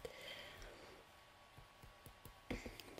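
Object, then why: Small plastic mascara tube. A small hollow orange plastic mascara tube is held in the hand while a fingertip taps the end of its cap and a nail taps its body. Quiet, light, irregular plastic clicks and taps with short ringing ticks come over a soft hiss, growing a little louder toward the end.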